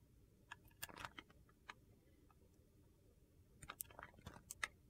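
A small solid white piece of bar soap held in the fingers is carved with a metal utility knife blade, breaking off thin slices. Sharp, crisp clicks and crunches come in two bursts, one early and one near the end, with a quiet stretch of faint scraping between.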